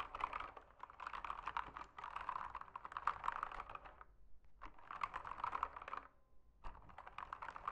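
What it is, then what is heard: Plastic mechanical keyboard. Fingertips type on a backlit mechanical keyboard with plastic keycaps, producing rapid, dense clicking keystrokes with short, crisp attacks. The typing comes in bursts with brief pauses, around 4 and 6 seconds, before resuming.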